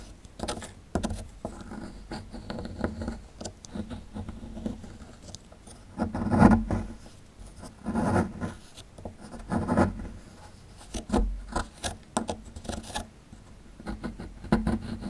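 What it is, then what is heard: Plaster dig block being scraped. A small, solid plaster dig block held in the hand is scratched and chipped with a metal pick tool. Irregular dry scraping and gritty scratching continue throughout, dull and low in tone with little brightness, and louder chipping bursts come near the middle and later in the clip.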